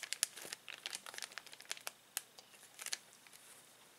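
A hand presses, rubs and squeezes the film of a clear plastic zip bag holding small plastic toys. It makes quiet, bright crinkling and crackling in a rapid, irregular string of sharp little snaps with almost no low end.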